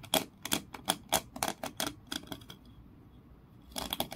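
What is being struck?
Grooved wooden block.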